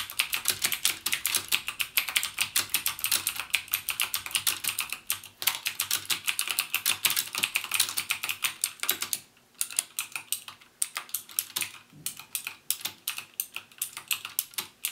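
Fingertips type steadily on a backlit plastic mechanical keyboard with plastic keycaps and Cherry MX Blue switches, pressing each key fully down. Rapid, sharp, bright clicks centered around 2.4 kHz follow one another with almost no ring. The typing pauses briefly around the nine-second mark and again near eleven and twelve seconds before continuing.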